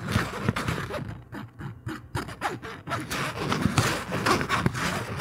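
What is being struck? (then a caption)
Thin plastic bag. A thin, translucent, empty plastic bag is held close to the microphone and crinkled with the fingertips. It makes dense, irregular crackling and rustling that spreads from a low rumble up to bright, hissy highs. The crinkling eases into a softer, sparser stretch in the middle before building back to steady, loud crackles.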